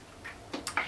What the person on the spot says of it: It has the little balls inside, if you can hear that.